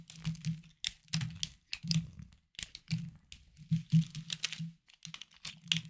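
A small knife carves a hard, solid, palm-sized green bar of soap held in the hand, with shavings falling onto a wooden board beside other untouched soaps. A run of short, crisp crunching and scraping bursts follows, each with bright crackly detail over a low, dull body. The bursts stop dead between cuts, with no ring.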